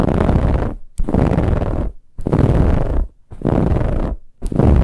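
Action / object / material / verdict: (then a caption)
scrape / stuffed pillow with ribbed fabric cover / fabric / none. Long nails on both hands scratch quickly across a large, soft, stuffed pillow with a dark brown ribbed fabric cover. The sound is five rough bursts of dense, rasping scratches separated by brief near-silent gaps. It is heavy in low rumble, with a fuzzy, grainy texture reaching into the highs.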